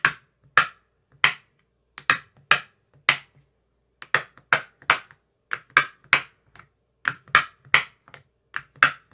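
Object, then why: Plastic ice cube tray with silicone cell bottoms, tapped with a thin metal rod. Slow, irregular tapping with a thin metal rod with a white tip inside the cells of an empty clear plastic ice cube tray with green silicone cell bottoms. About 19 short, dry clicks sound, each a bright tick centered near 1.4 kHz with a faint low thump and almost no ring. Brief silences separate the small clusters of taps.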